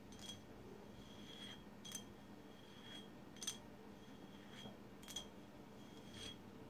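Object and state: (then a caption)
Glass bottle tapped with nails. Long silver acrylic nails tap and scratch a tall blue swirl-painted glass bottle, with both hands gripping near its base at the end. Quiet, irregularly spaced glassy clinks ring briefly at a high pitch over a soft background hiss.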